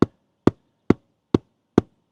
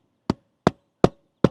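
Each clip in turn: First: hollow roof decking between rafters. Second: hollow roof decking between rafters.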